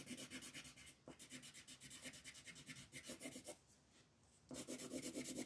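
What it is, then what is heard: Colored pencil shading on paper. A yellow wooden colored pencil is rubbed firmly over a flat sheet of white paper printed with a floral coloring page, making repeated quick shading strokes. It gives a bright, dry scratching rasp that pulses with each stroke. The strokes pause briefly near the end, then start again.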